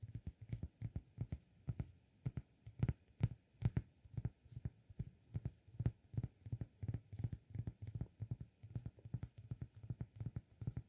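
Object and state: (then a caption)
Cork disk. Fingertips of the right hand tap a round, flat, solid cork disk held in the left hand. The result is quiet, dull, low thuds in quick irregular clusters, each dying away almost instantly with no ring.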